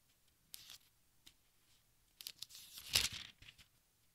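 Fingertips with dark nails turn and smooth the thin paper pages of a large open textbook. The result is quiet, bright, crisp crinkling and rustling in short bursts, with a louder sweeping crinkle near the end as a page turns over.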